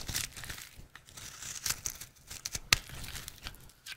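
A rectangular, solid, dry red soap bar held in the hand is carved into flakes with a utility knife blade. Quick scraping cuts make a crisp, crinkly, bright sound. Short sharp crunches stand out, with the loudest near the end.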